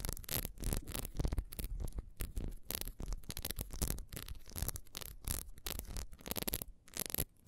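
Long nails scratch quickly across a solid ribbed beeswax candle, first while it lies on its side and then while it is held. The result is a dense run of short, dry, raspy scrapes with bright, hissy edges over a low, rumbling body, each stroke dying away almost at once.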